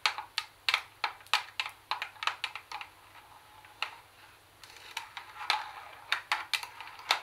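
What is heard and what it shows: Long fingernails tap on the casing of a CD tape recorder, making quick, bright, clicky taps that stop almost at once. Bursts of sharp taps give way to a stretch of softer, quieter tapping around the middle, then the louder taps pick up again.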